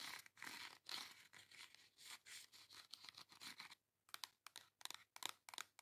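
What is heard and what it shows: Long acrylic nails scratch and tap the cover of a flat pink cardboard face makeup palette held in the hand. Rapid, dry, bright scratching strokes run for almost four seconds, then after a brief silence give way to quick, sharp, clicky taps. The sound is thin and high with almost no low end.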